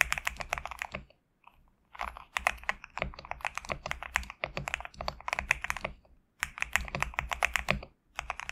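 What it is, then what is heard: Mechanical keyboard with PBT keycaps. Fingertips of both hands type on a GMK67 compact mechanical keyboard with PBT plastic keycaps. The keys give rapid bursts of sharp, bright clacks with a light low thock under them, and each keystroke ends almost at once. The typing stops briefly a few times.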